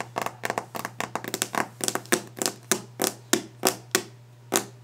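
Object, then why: Varnished wooden desk top. Fingernail tips tap quickly on the solid, polished top of a varnished wooden desk, making a run of sharp, bright clicks. The taps fall in uneven bursts and single strokes, each dying away almost at once over a faint steady hum.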